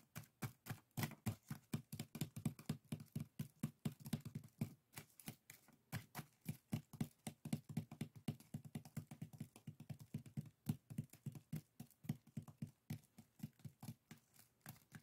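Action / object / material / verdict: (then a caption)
tap / woven split-bamboo strainers / bamboo / none. Fingertips and nails tap and scratch the weave of a small, hollow, empty pair of woven split-bamboo bokjori strainers in a steady run of about 79 quick taps. Each tap is a dry, hollow knock with a low, woody body and almost no ring, with soft scratchy rustle between taps.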